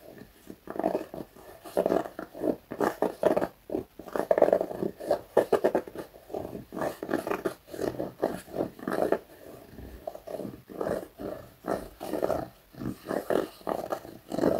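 Fingernails scratch the knit upper of a black knit fabric sneaker with a white foam sole. Quick, repeated scratching strokes make a dry, raspy sound centered in the midrange, with little bass or brightness. Each stroke is short and stops with no ring.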